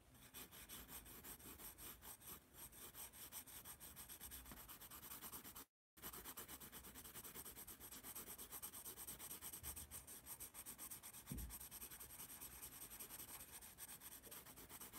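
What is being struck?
Pencil on paper sketchpad.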